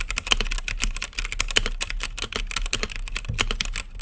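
Fingertips type steadily on a mechanical keyboard with plastic keycaps set in a clear acrylic lit case. The result is a fast, continuous stream of short, crisp clacks with a bright edge around 3 kHz, each dying out almost instantly, over a steady low hum.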